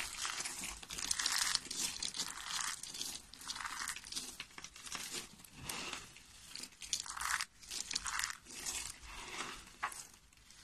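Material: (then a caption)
Soap. Hands with short nails squeeze and crunch a heap of brittle, pale yellow dry soap flakes in the palm. It makes bright, dry crackling and crinkling crunches in repeated bursts of varying loudness, with almost no low end and no ring after each squeeze.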